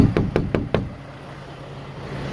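Four knocks on a Peterbilt 379 truck cab body panel that has been filled and reinforced with fiberglass and filler give short, dull, solid thuds with little ring. This is in contrast to the hollow sound of a stock cab. A low engine idle hum continues underneath and after the knocks.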